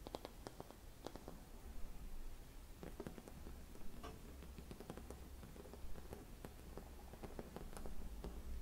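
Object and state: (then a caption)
Hollow mercury glass Christmas bauble. Long red nails tap a hollow, palm-sized, antique-style silvered mercury glass Christmas bauble with a metal cap, resting on cloth. The clip is quiet, with short, sharp clicks falling at an irregular pace over a steady low hum.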